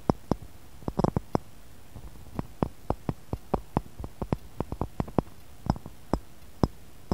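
Fingernails tap around the rim and sides of a small, clear, textured pressed-glass cup sitting empty and hollow in a matching glass saucer. About 25 quick, dry clicks and taps come at an uneven, playful pace, some grouped in fast flurries. Each tap dies away almost instantly over a quiet background.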